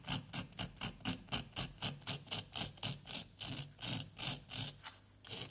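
A wooden stick scrapes repeatedly across a small solid orange plaster excavation block, making about 19 short, bright, gritty scraping strokes at a quick, steady pace. Plaster dust piles up as it is scraped away.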